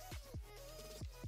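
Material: Nothing is struck.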